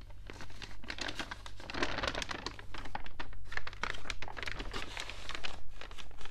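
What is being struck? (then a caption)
Newsprint newspaper pages. An open, water-damaged newspaper of thin newsprint lies flat while both palms and fingertips press and rub across its pages, and one page is flipped over. Soft, dense crinkling and rustling rises and falls in close bursts over a steady low hum.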